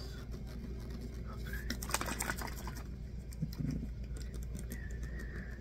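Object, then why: Small plastic water bottle, partly full. Fingers tap and handle a small, clear PET water bottle with a white cap, partly full and otherwise hollow, possibly touching the cap as well. Soft, quick plastic taps and light crinkling handling noises rise briefly over a steady low hum. The clip stays quiet throughout.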